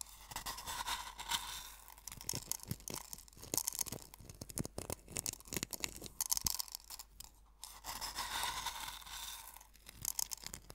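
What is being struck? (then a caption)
Coarse sea salt crystals in a wooden bowl. Fingertips with painted nails press, rub and scratch coarse white sea salt crystals in a small hollow bamboo or wooden bowl about a third full. Dense, gritty crunching and scraping comes in rapid bursts, mostly bright and high with little low end. Each crunch stops sharply with no ring.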